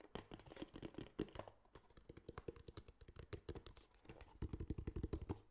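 A small, hollow, tan kraft cardboard box is turned in the hands and tapped with fingertips and nails. Dozens of quick, dry, irregular taps sound low and hollow, with brief clicks from the nails. The taps die away almost instantly, and a denser, louder burst comes near the end.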